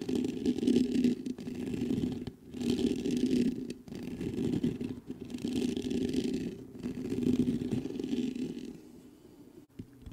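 Fingertips scratch the grille of a black metal USB condenser microphone in rough, uneven bursts with short pauses between them. The sound is a dense, hollow rasp centred in the low mids with a faint bright hiss on top. Near the end the scratching gives way to light taps on the metal body.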